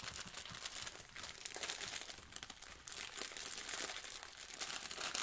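A blue sponge in a clear plastic wrapper, held flat in a lap near a plastic apron, is rubbed and crinkled by yellow rubber-gloved fingers. It makes a steady, dense, bright crinkling and crackling with quick rustles and almost no low end. The sound stays quiet and continuous throughout.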